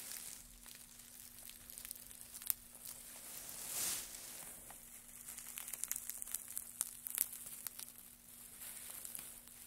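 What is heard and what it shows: Gloved hands grab, crumple and scrunch a heap of thin wood shavings. Quiet, bright crinkling and crackling is broken by sharp little clicks, with a brief airy swell of hiss midway and a faint steady low hum underneath.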